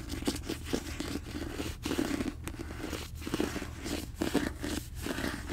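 Fingertips and nails scratch and tap the glossy paper cover of a closed, hand-held paperback copy of the novel *Throne of Glass*. The result is a continuous dry, papery scratching with crunchy, crinkly texture and soft tap accents throughout, low in level and centered in the low-mid range.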